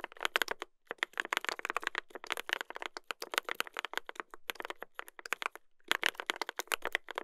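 Two hands type continuously with their fingertips on a mechanical keyboard with a brass plate and plastic keycaps. The result is a fast stream of sharp, bright clacks with almost no low end, broken by brief pauses near the one-second and six-second marks.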